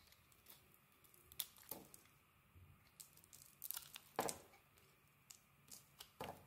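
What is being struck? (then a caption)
Bar of soap shaved with a metal blade. A solid, translucent, yellowish bar of soap held in the hand is shaved with a metal utility blade. A series of quiet, dry scraping and crackling cuts comes through, with short bright peeling strokes that end quickly.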